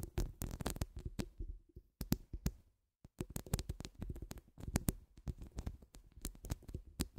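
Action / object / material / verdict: scrape / steel mesh microphone grille / steel mesh / none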